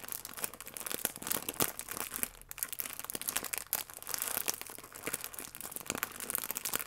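A full plastic film croissant pack has its crimped end pinched and rubbed between fingertips and nails. The result is a steady stream of dense, bright crinkling and crackling with quick, sharp snaps and very little low end.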